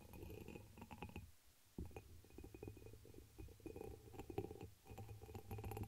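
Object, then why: Glass chalice. A dark amber embossed glass chalice, hollow and empty, rests inverted over the microphone while long nails tap and scratch its surface. Quick, soft clinks with a muffled, resonant low hum fill the clip, broken by a brief quiet pause before the tapping resumes.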